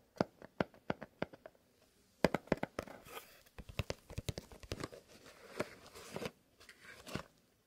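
A small, long, hollow kraft cardboard "Fox" box is held in both gloved hands and tapped and scratched with fingertips and nails. A run of sharp, dry taps comes first, followed by a brief pause, then faster taps mixed with rough, crinkly scratching across the surface.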